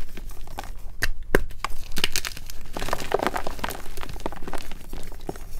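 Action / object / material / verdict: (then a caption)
scrape / magnesium carbonate gym chalk block / magnesium carbonate / none. Palm-sized solid white MagKing gym chalk blocks of magnesium carbonate are squeezed and crushed between fingertips and thumbs in a glass bowl, with several blocks of the same chalk nearby. Dense, dry crunching and crumbling fill the clip, marked by sharp cracking snaps and gritty crackles that die out almost instantly as the blocks break apart.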